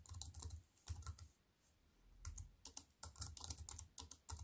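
Fingertips with white-painted nails type on a slim wireless keyboard with black plastic keys in a grey metal-look frame, lying on a wooden table. Quick, soft clicks in bursts combine a low, dull thump with bright key clatter. A brief pause in the middle is followed by faster typing.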